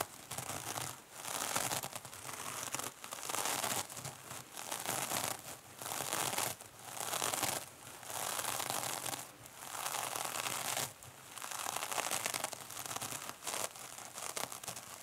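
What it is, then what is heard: Metallic mesh scrub sponge being scratched. Long fingernails on both hands scratch the top surface of a small silver mesh-covered foam sponge lying on a table. The result is a dry, bright, crinkly rasping in repeated rhythmic bursts with short pauses between them, mostly high with very little low end.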